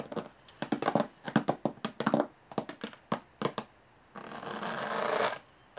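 Long nails scratch slowly across the textured lid of a closed, hollow aluminum carry case. A run of short, dry scratching strokes gives way to one longer, steady rasp that swells and then stops, with a hollow metallic tone under the bright grit.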